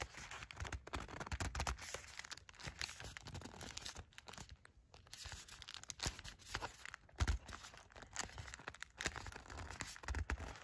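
Long matte black nails tap and scratch the surface of a small, thin, flat gold-printed cardboard sandalwood incense stick package held in the hand. The sound is a dense stream of quick, dry taps and crinkly scratches with papery rustle and bright edges, plus soft low thumps from the handling. It pauses briefly around the middle and then continues.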